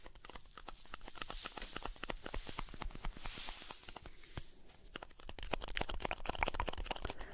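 Fingertips scratch and tap the printed cardboard surface of a blue Alpen Salz salt carton held in both hands. Dry, papery scratching with bright hissy swells mixes with a steady run of quick, sharp, clicky taps that die away almost instantly. The pattern is irregular and stays close and quiet throughout.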